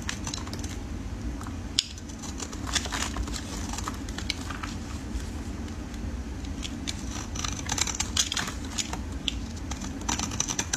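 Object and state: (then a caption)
Soap bar being shaved. A solid oval red soap bar held in gloved fingers is scraped and shaved with a metal utility blade. Quick, bright, crisp scraping ticks and crackles keep recurring over a steady low hum, with one sharper snap near the start.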